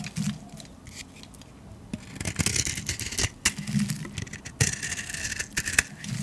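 A metal blade scrapes curls off a solid yellow painted soap bar held in the hand. The result is a series of dry, crackly scraping and rasping strokes with bright, high hiss and brief sharp clicks over a faint low rumble.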